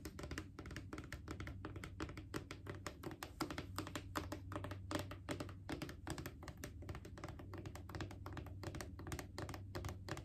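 Long painted fingernails tap quickly and irregularly on the side of a Clorox disinfecting wipes canister, a hollow plastic cylinder with a label. The result is a dense stream of short, dry clicks and hollow knocks centered around 300 Hz that die away almost instantly. A steady low hum sits underneath.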